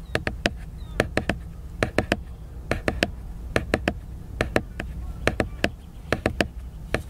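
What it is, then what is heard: Glossy laminated book cover. Fingertips tap and scratch the glossy laminated paper cover of a large picture book, producing about 26 sharp, dry clicks that come in quick irregular clusters of two to four. Each tap is bright, dies almost instantly, and sits over a low, steady rumble.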